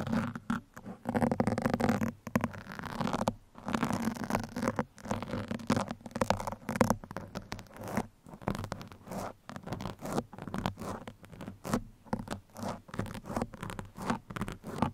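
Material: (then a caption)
Foam. Two metal pins scratch across the top and sides of a black foam microphone windscreen, making dense, muffled, rapid scratching in uneven bursts with brief pauses. The sound is soft and low-mid heavy, with little brightness.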